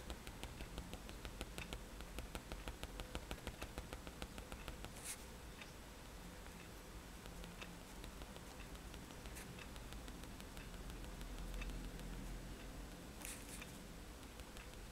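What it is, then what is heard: Paper sheet tapped with pen tip. The metal tip of a fine-liner pen taps repeatedly on a white paper sketchbook page lying flat on a table, making stippled dots. Quiet, rapid, light ticks come at an uneven pace, crisp and evenly spaced at first, then blurring into a soft, steady patter over a low background hum. A few brief, brighter scratchy sounds break through now and then.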